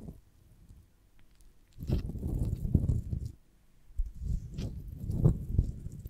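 Long nails scratch and tap the waxy cell surface of a beeswax honeycomb on a branch, held in both hands. After a quiet, faint rustle, two bursts of dense, low, muffled scratching and tapping follow, each lasting over a second with brief brighter ticks on top.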